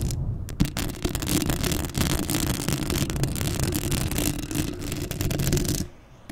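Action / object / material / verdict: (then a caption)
scrape / metal mesh microphone grille / metal mesh / none. Long acrylic nails scratch across a black metal mesh microphone head, making a dense, continuous raspy scratching with a heavy low rumble and bright crackle. A sharp tap stands out near the start, and the scratching stops abruptly just before the end, dropping to near quiet.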